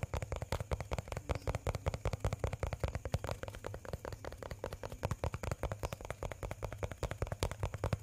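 A small clear plastic bottle with a red cap and a pink and blue label, which seems hollow and may hold some liquid, is held in one hand close to the microphone and tapped and scratched with the fingertips of the other hand. A rapid, somewhat uneven series of short, dull, low-heavy taps runs throughout, each dying away almost instantly, with faint scratchy texture between them.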